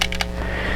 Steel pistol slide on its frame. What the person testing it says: you shake it quite a bit of rattle there